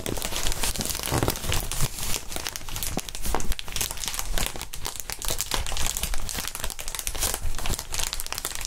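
Fingertips squeeze and crinkle a large, clear, inflated plastic air column cushion wrap. A dense, continuous run of bright, crackly crinkles plays at a steady level, with soft low thumps underneath.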